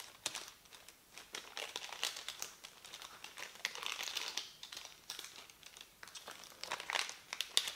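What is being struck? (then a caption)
Thin printed paper sheet. A thin, crumpled printed paper leaflet is rubbed and folded with the fingertips on a table. It produces a steady run of bright, crisp crinkling crackles with no low end. The crackles come in short bursts that swell and fade throughout.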